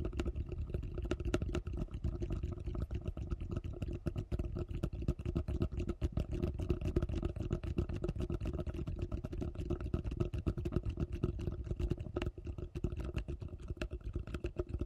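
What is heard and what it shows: Long nails rapidly tap and scratch the curved base of a large, hollow yellow plastic bowl turned upside down. The result is a dense, irregular stream of short, dull, hollow clicks and scrapes, mostly low in tone with quick decay and a faint steady hum underneath.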